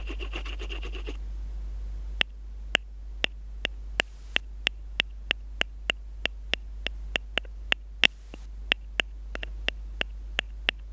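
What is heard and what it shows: A graphite pencil tip first scratches, then taps a steady series of sharp, dry clicks on a small, hollow, light-blue plastic earphone in-line microphone housing taped to paper, and that same microphone is doing the recording. Each tap lands as a bright, hollow plastic tick that dies away almost instantly over a constant low hum.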